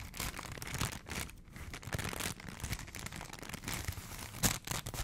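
A small folded piece of printed McDonald's paper sandwich wrapper is held in the fingers close to the mic while the fingertips crinkle and scratch the thin paper. The result is a steady run of dry, crackly rustling with bright edges and a low, soft rumble underneath, with a sharper crackle burst near the end.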